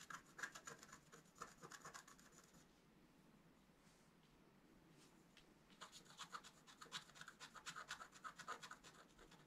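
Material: Coated paper.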